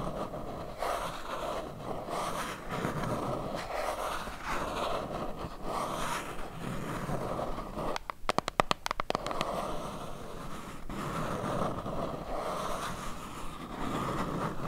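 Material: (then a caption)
Cardboard. Long nails tap and scrape softly along the edges of a small, hollow, white printed cardboard box held in both hands. A steady papery scraping runs throughout, broken around the middle by a quick flurry of sharp, dry taps before the soft scraping resumes.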